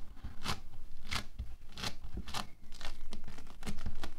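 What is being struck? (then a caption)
Bead foam clay. Fingertips scratch across a flattened sheet of orange bead foam clay (playfoam) on a white table and gather it into a loose heap. The result is a string of irregular, crunchy bursts of gritty crackle with a bright, tearing edge over a low, muffled rumble, each burst dying away almost instantly.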